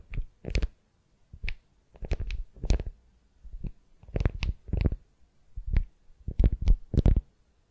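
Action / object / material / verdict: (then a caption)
scrape / beeswax-coated cotton wrap over a wooden sphere / beeswax cloth / none. Long nails scratch and grip a beeswax-coated cotton wrap around a solid wooden sphere. It makes short, dry crinkling and scratching bursts with quiet gaps between them, mostly low and thumpy with brief bright edges.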